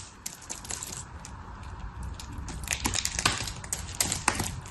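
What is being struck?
Soap shavings.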